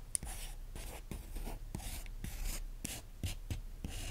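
A capped green pen traces and scratches lightly over the printed photos on an open magazine with thin glossy paper pages. Soft, papery scratching strokes repeat in short bursts, each with a bright, hissy edge over a faint low rumble, and the clip stays quiet throughout.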